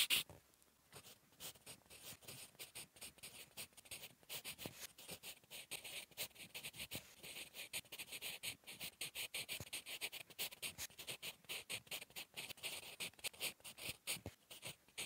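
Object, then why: Graphite pencil on a paper notebook page. A sharpened wooden 8B pencil, held in the fingers, writes with its graphite tip on a flat sheet of lined drawing-paper notebook resting on a solid surface. Continuous, bright scratching strokes of quick handwriting come in rapid, closely spaced bursts, with very little low end and a short, dry decay.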